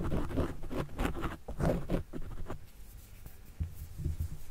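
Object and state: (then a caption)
Foam microphone windscreen being scratched. A white plastic stylus tip is drawn in writing strokes across a soft, porous, tapering black foam windscreen covering a desktop microphone. The result is a series of close, muffled, low scratching and rubbing bursts in an irregular rhythm. The strokes are louder in the first two seconds, then fade to quieter scuffs.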